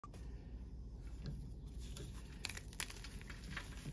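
Fingertips snap and crumble chunks off the edges of large solid white gym chalk blocks (magnesium-carbonate style) resting on a metal tray. Quiet, dry crackles and crisp snaps of breaking and crushing chalk sit over a steady low rumble, with a few sharper bright cracks standing out.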